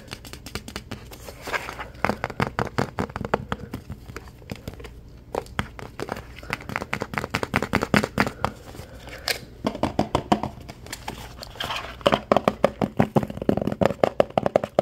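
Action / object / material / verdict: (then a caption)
tap / plastic tub with plastic lid / plastic / none. Fingernails rapidly tap and scratch the bottom and sides of a white plastic OxiClean tub, then move to its blue plastic lid. The result is a dense stream of short, dry, crinkly clicks and scrapes with almost no ring, growing busier and louder toward the end.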